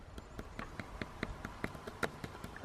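A frozen drop of what appears to be hot water is tapped about 12 times in a steady rhythm, each tap giving a short, dull click with almost no ring. The drop is frozen hard, unlike the cold-water drop beside it that is still slushy.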